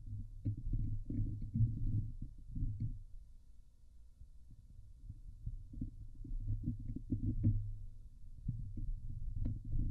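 Fingernails from both hands scratch and tap the hollow steel wire-mesh grille of a Blue Yeti microphone head. The result is a dense, low, muffled run of rapid thumps and scraping rumbles with almost no bright content, surging louder near the start, dipping in the middle, and building again toward the end.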